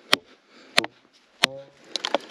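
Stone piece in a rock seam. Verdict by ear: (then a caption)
Loose. A loose piece of Ocean Picture Stone in a rock seam is tapped, giving three sharp, bright clicks spaced apart, then a quicker flurry of smaller clicks and rattles. The clicks are dry, high-pitched and die away almost instantly; the third leaves a brief faint hum. The piece is loose and comes off, revealing good material beneath.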